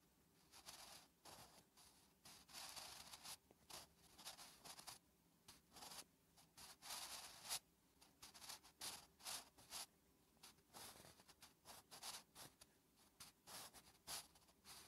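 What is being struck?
Graphite pencil on a paper notebook page.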